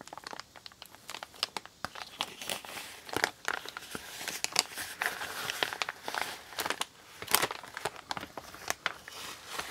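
A large, empty, brown kraft recycled-paper Amazon mailer bag lies flat and already creased on a wooden table while fingertips with painted nails grip its edge and crumple it. The result is a steady run of dry, bright crinkling and sharp crackles with almost no low end, each snap dying away almost instantly.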